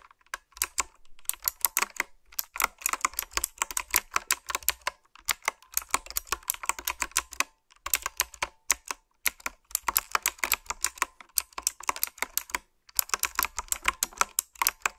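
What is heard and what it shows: Fingertips and long nails type in bursts on a retro, typewriter-style mechanical keyboard with round, backlit plastic keycaps. Each burst is a fast run of sharp, bright clicks and clacks with almost no low end and no ring, separated by short pauses.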